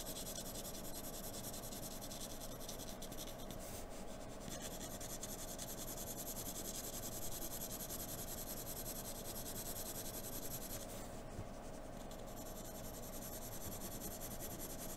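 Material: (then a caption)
Paper. A wooden graphite pencil held in an extender draws long lines across a flat sheet of white drawing paper resting on a dark table. The result is a quiet, steady, scratchy rubbing with a bright hiss over a soft low rumble, continuing evenly throughout without clear separate strokes.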